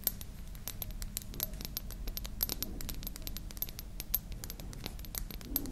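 A small glass cosmetic dropper serum bottle with a white dropper cap, hollow with liquid inside, is held in both hands and tapped and scratched with long manicured nails. Rapid, bright, clicky taps and thin scratches follow one another with almost no ring. A steady low rumble sits underneath.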